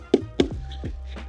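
The inflated leading edge of a kitesurfing kite, fabric over an inflated bladder, is tapped to check its inflation against the 9 PSI marked on the kite. Two sharp, high-pitched taps ring briefly with a solid, tight tone. The edge is firmly inflated, solid and hard to push a thumb into.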